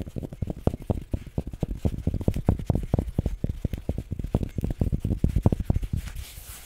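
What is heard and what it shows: A pink fabric baseball cap with printed lettering and a stiff brim is held up in one hand near the mic while fingertips and nails scratch and tap its hollow crown. A dense run of soft, low, muffled taps and scratches with almost no ring fades out near the end.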